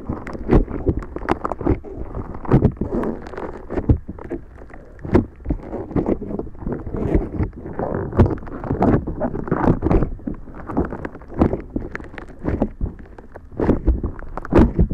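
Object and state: Floam slime with foam beads being squeezed.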